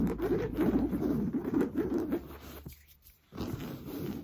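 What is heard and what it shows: Fingernails scratch fast and hard across an orange coarse-weave fabric sofa cushion, giving a dense, rough scraping rustle. The scratching runs steadily, fades and drops almost to silence around the three-second mark, then resumes.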